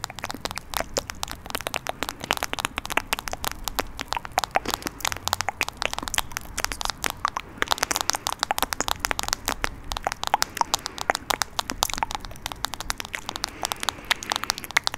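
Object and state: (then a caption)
Plastic phone case tapped and scratched. Long nails rapidly tap and scratch a smartphone in a teal plastic case held next to the mic. The result is a dense, steady stream of sharp, dry, bright clicks and crackles with no ring, over faint scratching.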